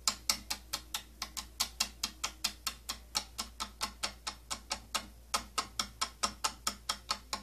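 Fingernails scratch and tap along the slotted rim of a hollow, purple, cylindrical plastic holder from an old tattoo kit case. About 33 sharp, bright clicks follow one another at a fairly steady, quick pace, each dying away almost instantly, with faint scraping between them over a low steady hum.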